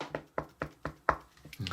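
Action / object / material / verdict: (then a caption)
knock / moulded chocolate figure / chocolate / hollow. A hollow Palmer Chocolate Magical Easter Unicorn, a birthday-cake-flavor chocolate figure, is knocked on to show it is hollow. Five evenly spaced, short, hollow knocks are heard, followed by a few softer, less distinct taps and rustles.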